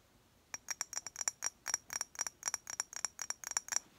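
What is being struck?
Glass perfume bottle.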